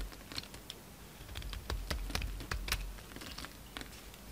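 A utility knife blade shaves thick curls off a solid green bar of soap held in the hand. Quick, irregular crisp scrapes and clicky ticks with bright edges sit over a low, steady rumble, each cut ending short and dry.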